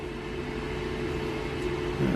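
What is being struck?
Nothing is struck.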